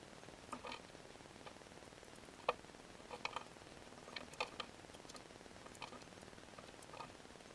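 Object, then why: Soap bar cut with a metal blade. A palm-sized, solid pink glittery soap bar held in the hand is carved and scraped with a metal box-cutter blade, leaving pink shavings. About eleven faint, crisp ticks and short scrapes stand out over a quiet, hissy background, each dying away almost instantly with a bright edge and a body around 500 Hz.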